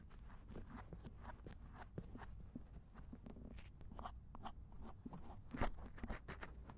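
A thin wooden or bamboo ear pick repeatedly scratches the silicone ear of a binaural dummy head microphone lying in a lap. Soft, close scraping and rustling strokes sit over a steady low rumble, with short bright scratches and a slightly louder scrape near the end.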